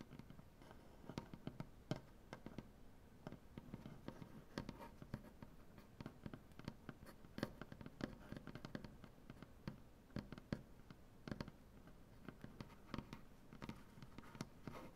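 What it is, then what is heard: Wooden butcher block table. Long, dark-painted nails tap and scratch across a solid light-wood butcher block tabletop. The result is a quiet, steady run of many short, dry taps with almost no ring, set over a soft, low, rustling scrape.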